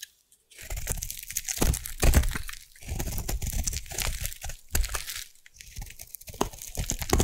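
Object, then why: Bar of soap cut with a metal blade. A solid white bar of soap is carved with a metal blade, peeling off crunchy curls. Dense crackling scrapes run in bursts with short pauses between, their low, close-up rumble topped by bright, gritty crunching.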